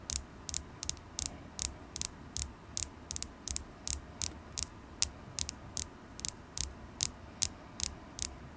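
A solid polished carnelian crystal point, held in the fingers, is tapped with long acrylic nails. About 24 sharp, bright, clicky taps come in a loose, uneven rhythm, each dying away almost instantly. A faint low hum sits underneath.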